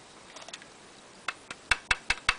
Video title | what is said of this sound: [LEGO] Batman - Bat Box Lumineuse ! | ça sonne creux à l'intérieur c'est creux